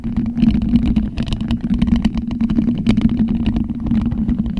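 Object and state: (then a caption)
Metal mesh microphone grille being scratched. Two white plastic skeleton hands scratch and rub directly on the grille of a large, black, hollow metal-mesh microphone head. A steady low hum around 220 Hz runs underneath a dense, continuous stream of dry scratchy clicks and rasps that flicker up into the high range.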